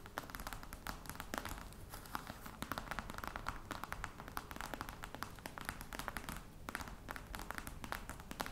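Long red nail tips tap rapidly on the top of a flat, hollow black box covered in embossed faux-crocodile leather. The result is a quick, steady patter of short, dry clicks with a mid-range hollow knock and almost no ring, over a low, soft background.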